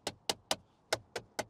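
Knuckles knock six times on the plastic interior trim of the high center console in a Polestar 2 Single Motor Long Range, each knock a short, hollow tap with a bright click and almost no ring. The trim sounds cheap and hollow, like the plastic of a 1990s Korean car.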